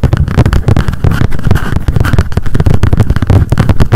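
Long decorated acrylic nails tap rapidly on a small pink m.memo spiral-bound paper notebook with a card cover, held in the hands. A fast, dense run of dull, low, thumpy taps with short decays and almost no bright content.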